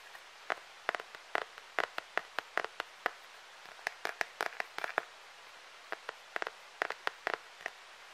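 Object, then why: Hard plastic phone case filled with glitter. Fingertips and short nails tap and scratch across the back of a clear, hard plastic phone case filled with gold glitter flakes, flat and thin and held in one hand. About two dozen short, dry, bright clicks and ticks come in irregular bursts with no low end. Each click dies almost instantly against a quiet background.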